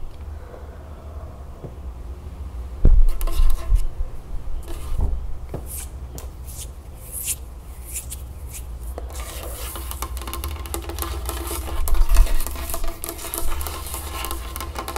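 Long acrylic nails tap quickly and scratch across a solid, dark polished wooden tabletop. Soft, dull taps and rasping scrapes sit over a steady low rumble, with a louder burst of tapping near the start and bright scratching that grows denser in the second half.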